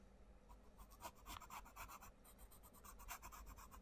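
A wooden coloured pencil rubs shading strokes across a butterfly drawing on an open paper colouring book page while the other hand spreads and holds the page flat. Soft, bright, scratchy strokes repeat roughly four times per second in a loose, uneven rhythm over a low background hum.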